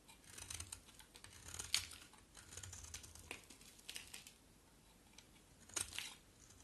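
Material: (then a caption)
Soap. A box cutter blade scrapes and shaves a rectangular solid white bar of soap with a black coat. The sound is a quiet run of crisp, bright, brittle scraping strokes with short dry crackles and a low soft rumble beneath. There are a few sharper snaps near the middle and near the end.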